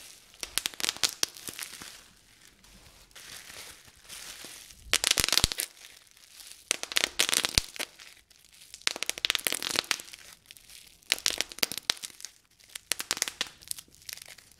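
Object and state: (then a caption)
Plastic bubble wrap popping. A small piece of clear plastic bubble wrap is held in both hands while the fingers twist and squeeze it to pop the air bubbles. Bursts of sharp, bright pops break out over a steady crinkling rustle, with quieter stretches of crinkling in between. The pops are dry and stop at once, with almost no low end.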